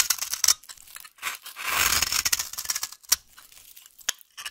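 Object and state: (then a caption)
Bar of dry soap being cut. A knife blade is scraped along the edge of a solid, dry yellow vintage soap bar held in the hand, making a crumbly, rasping cut. Short, bright, dry scraping bursts are broken by a longer sustained rasp midway and a few sharp ticks, with almost no low-end body.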